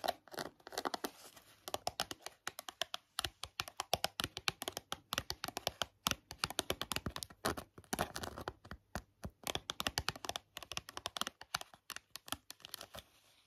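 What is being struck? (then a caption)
Small cardboard box. Long nails tap and scratch the flat face of a small, hollow, yellow printed cardboard box with a clear window, full of sponges and held up in the air. Dense runs of quick, dry, bright taps mix with short scratching strokes, each click dying away almost instantly in a close, quiet space.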